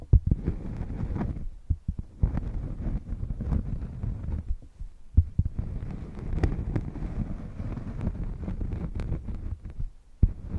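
A thin, solid, round cork coaster is held flat on a fluffy microphone cover and scratched and tapped with long painted nails. Deep, muffled rubbing and scratching comes in bursts, broken by sharp, bassy thumps from the taps.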